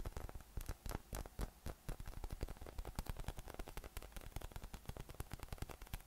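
A yellow inflatable PVC spiky massage ball with nubs, hollow and air-filled, is held in one hand and tapped rapidly with the fingertips. The result is a quick, steady stream of soft, dull, low thumps that die away almost instantly, with a faint crackly hiss between them.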